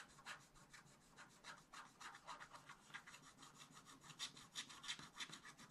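A wooden stylus scratches the coating off a black coated scratch-art paper page in a spiral book, with the hand held close to the page. Quick, uneven, repeated strokes make a dry, bright, papery rasp with little low end. Each stroke dies away almost at once, leaving a soft, steady scratching texture.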